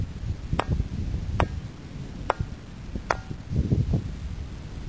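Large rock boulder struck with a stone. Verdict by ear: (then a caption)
Ringing. The Ringing Stone (Clach a' Choire) on Tiree, an Ice Age erratic boulder carrying 53 cup marks, is struck four times with another stone. Each strike gives a sharp, brief metallic, bell-like ping over a low, rumbling background.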